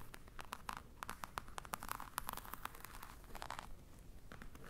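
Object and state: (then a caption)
Croc-embossed faux leather case. A medium black hollow hard case with a crocodile-embossed faux leather cover and metal clasps is held in one hand while long nails of the other hand scratch and tap its textured front. Quick, dry clicks and scratchy taps come in an irregular stream with a bright, crisp edge over a quiet low rumble, and each one stops almost instantly with no ring.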